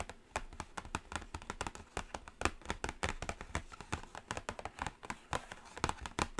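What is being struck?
Cardboard eyeshadow palette lid.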